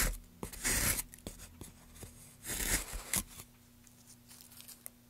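A gouge carves into a solid pale softwood board, then a gloved hand brushes and rubs the surface. Loud, bright, rasping scrapes near the start and in the middle are set among short sharp ticks. It ends in quieter, soft rubbing over a faint low hum.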